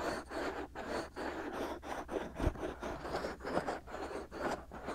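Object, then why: Silicone ear mold of a binaural microphone. Fingertips and short nails rub and scratch both white, hollow silicone ear molds on a binaural microphone. The result is a close, steady run of soft, dry scratching bursts in quick succession, with brief gaps between strokes and a faint low rumble underneath.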